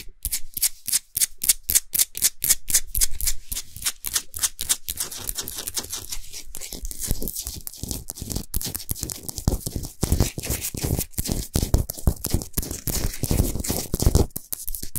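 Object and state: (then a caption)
Himalayan salt globe lamp. Long nails scratch quickly over the sides of a large, solid Himalayan salt sphere lamp that is lit from inside. The result is a fast run of dry, bright, gritty scrapes. The strokes are sharply separated at first, then blur into denser, rougher scratching with almost no ring after each stroke.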